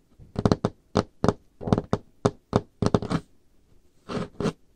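Painted fingernails and fingertips tap on the surface of a large, solid, dark-stained wooden table top, making about 13 short, dry knocks at an uneven pace. Each tap pairs a dull low thud with a bright click and dies away almost at once. The last few sounds stretch into slightly longer, rougher bursts.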